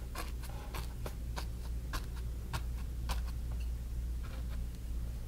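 A flat bristle brush held in the fingers dabs and rubs wet orange paint on a small stretched cotton canvas on a wooden frame. It makes a quick, uneven run of soft, short, bright scratchy strokes over a steady low hum.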